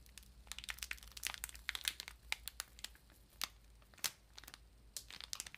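Long pink nails scratch and tap the glossy plastic wrap on a large, solid ream of printer paper. The result is a quiet stream of bright, crisp plastic crinkles and sharp little ticks that die away instantly, with almost no low end.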